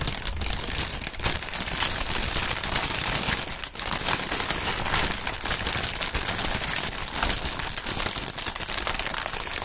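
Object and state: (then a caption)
Plastic air pillow packaging film. A clear polyethylene air-cushion packaging strip with green print, partly inflated and hollow, is crumpled and squeezed with the fingertips of both gloved hands. The result is a steady, dense, bright crinkling and crackling that runs throughout, with a brief dip in loudness near the middle.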